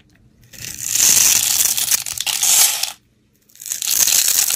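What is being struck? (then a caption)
Bar of soap scraped with a metal blade. A metal utility blade scores and scrapes a solid pale green "la bella" soap bar held in the hand, shaving it into small crumbles. Two long passes of bright, crisp, crunchy scraping are split by a brief silence.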